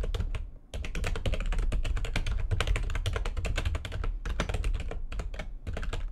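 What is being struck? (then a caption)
Plastic computer keyboard. Fast typing with long nails and fingertips on a full-size plastic keyboard with white backlighting and a hollow housing. The result is a dense stream of clicky, clattering keystrokes with a deep, hollow thump beneath them. There is a brief pause near the start, then steady rapid typing to the end.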